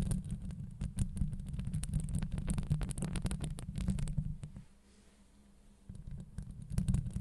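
Long acrylic nails scratch and tap a hollow steel wire-mesh microphone grille up close, making a dense, deep rumbling scrape broken by quick, sharp ticks with a faint bright edge. The scratching drops to near silence for about a second in the middle, then resumes with more crackling taps.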